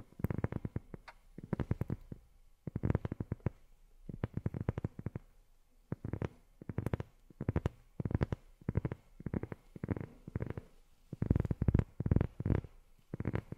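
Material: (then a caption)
Rubber. Long fingernails tap rapidly on a rubber sheet in quick bursts separated by short pauses. Each tap is a soft, dull, low thud that stops almost instantly, with no ringing and very little high sound.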